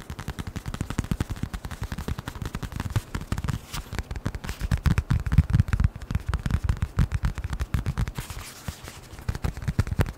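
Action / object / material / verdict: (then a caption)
tap / leather-covered notebook cover / leather / none. A small, closed brown leather-covered notebook or wallet is held in front of the microphone and tapped rapidly with the fingertips. About 65 dull, low thumps come in fast, uneven bursts, each dying away almost instantly. Only faint bright ticks ride above them.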